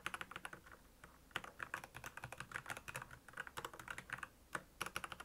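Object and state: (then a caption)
Plastic mechanical keyboard. Fingertips of both hands type on a black plastic Royal Kludge mechanical keyboard with backlit keys. It makes a quick, uneven run of short, bright clacks with a few brief pauses. Each keystroke stops almost at once with no ring.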